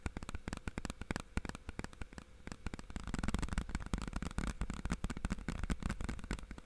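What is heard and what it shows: Fingertips tap on the front face and then the edge of a hollow, clear plastic DVD or game case with a printed cover, held in both hands. A rapid run of short, dry, hollow taps is heard, each with almost no ring and a low, thuddy body. The tapping grows denser and slightly louder partway through.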